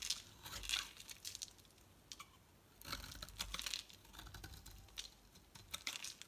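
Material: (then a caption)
Soap. A metal utility knife blade scrapes and shaves a solid, bright green rectangular Loles soap bar, building up curls of soap. Dry, crisp crackling and tearing bursts come in uneven clusters with short quiet gaps, concentrated in bright high tones with very little low end.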